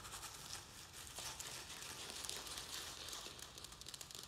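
A round black plastic plant pot filled with soil and perlite is held in both hands and tapped and scratched on its sides with fingernails. The result is a quiet, steady, bright crinkly scratching with fast, irregular light taps, mostly in the high range with little low end.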